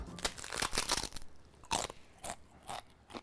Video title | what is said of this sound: Recreating Taco Bell's Crunchwrap Supreme | Bien croustillante. C’est exactement le bruit que doit faire une tostada.